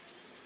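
A plastic lipless crankbait fishing lure, a Rattle Trap, is shaken so the BBs inside its vibration chamber rattle. Two short, bright, high-pitched clicking bursts are heard over a faint hiss, each fading quickly.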